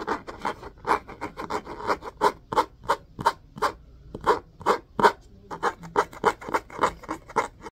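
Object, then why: Cloth-covered cardboard hardcover book. Fingernails scratch and rub the spine and top edge of an orange hardcover book with a cloth-covered cardboard cover, held upright. A quick, uneven series of short, dry rasping strokes centers around 1 kHz, with faint high edges and a brief pause near the middle. Each stroke stops almost instantly with no ring.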